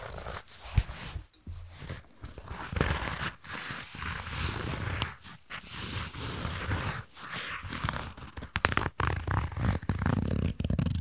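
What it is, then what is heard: Leather waist bag. A medium brown leather-look waist bag with metal studs and rings, hollow inside, is held close to the mic while long nails scratch and tap across the leather and the metal hardware. Dense, low-weighted scratching and rustling runs throughout, broken by short brighter taps and clicks on the studs and rings.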